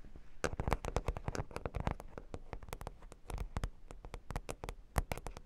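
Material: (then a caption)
Plastic, cork. Long pink nails scratch across a flat, solid cork board covered with plastic half-pearl stickers. The result is a rapid, uneven run of sharp, clicky ticks and scrapes over a soft low rumble, each click dying away almost instantly.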